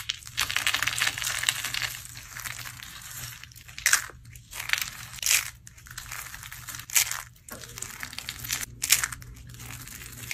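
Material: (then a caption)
Soap. A hand with long painted nails grabs handfuls from a heap of dry blue-teal soap flakes and curls and crushes them in the fist. Bright, dry crunching and crinkling comes in bursts, dense at the start and then as separate squeezes, over a faint steady low hum.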